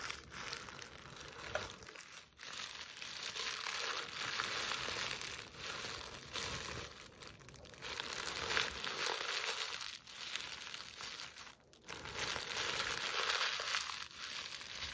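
Long nails scratch, grip and crumple a soft, hollow, empty burlap Christmas stocking with a plaid appliqué letter A. The sound is a continuous bright, dry crinkling and rasping of the jute fabric, swelling and fading in waves with a few brief pauses.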